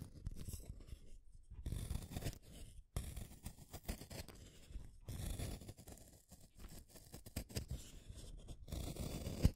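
A blue wooden colored pencil, with a solid wood casing and a pigment core, is held in the fingers and shaved by a small metal blade in a yellow holder, so the wood peels off in curls. Quiet, low, rough scraping strokes come in bursts separated by brief pauses, with faint bright crackle on top.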